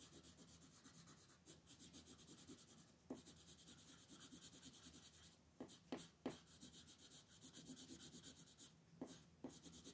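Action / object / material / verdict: scrape / colored pencil on a paper page over a wooden table / paper / none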